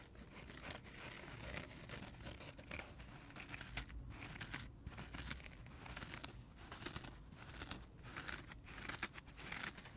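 A dry, multicolor heart-shaped porous foam sponge is held in the hand while fingertips and nails scratch and rub along its edge and face. The result is a steady, quiet stream of crinkly, crunchy scratching with brief bright bursts and a low rumble underneath.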